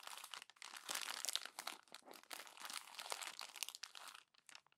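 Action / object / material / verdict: scrape / glossy paper magazine / glossy paper / none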